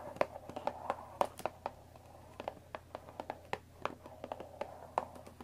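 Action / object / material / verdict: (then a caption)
tap / cardboard tea box / cardboard / none. Long dark nails tap the top of a closed Earl Grey tea box made of thin printed cardboard, about 20 cm long and likely full of tea bags, resting on a wooden table. The irregular series of short, dry taps has a hollow midrange tone around 570 Hz, and each tap dies away almost instantly over a faint, steady low hum.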